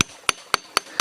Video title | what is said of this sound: giok klinting tungal jos jos ada di sini | Maka dari diketok dia bunyinya nggak ting. Jadi seakan ada rongga. Batunya padat, cuman dia penuh retakan di sini.